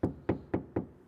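Four evenly spaced knocks on an untreated spot of sheet-metal car door panel without sound deadening, on a grey 3IS during a door speaker upgrade. Each knock is a short, hollow, low-mid thump centered around 330 Hz that fades quickly. The bare panel sounds hollow, in contrast to the treated part of the door, which sounds solid.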